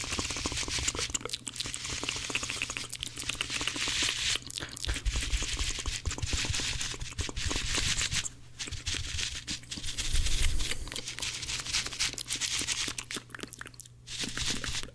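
Blue porous cellulose kitchen sponges are squeezed and rubbed together with fingers right in front of the microphone. The result is a fast, dense stream of crinkly, crunchy squishing with bright hiss and low thumpy rumble, and a steady low hum underneath. There are brief quieter pauses near 8 and 14 seconds.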